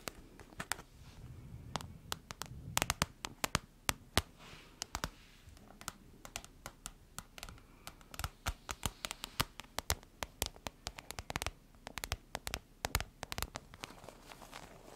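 Long nails and fingertips tap and scratch a medium-sized iridescent holographic plastic or foil pouch, hollow and apparently empty, held close to the microphone. Rapid, irregular sharp clicks and crisp crinkly scratches come through, with very short decay over a faint low rumble.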